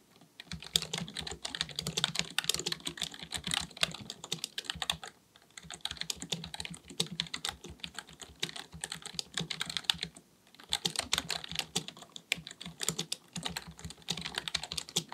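Fingertips of both hands type rapidly on a black full-size plastic computer keyboard resting on a desk. Bright, crisp key taps come in three fast bursts, with short pauses near 5 and 10 seconds.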